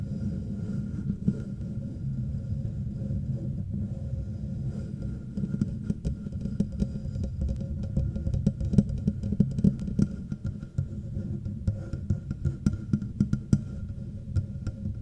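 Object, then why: Metal microphone body. Both hands tap and scratch the front of a hollow, black matte metal Blue Yeti microphone body with long nails and fingertips, near the logo and volume knob. A dense, low, rumbling patter of scratches fills the sound, centered around 200 Hz, with a faint steady tone near 1.4 kHz. After about six seconds, sharper, brighter taps and clicks stand out above it.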